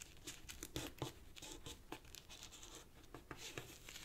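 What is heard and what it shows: Fingertips and nails press and rub the creases of a small, tightly folded purple origami paper sheet resting on a black cloth table. Quiet, irregular crinkles and crisp taps sound in quick succession, bright and dry with almost no ring.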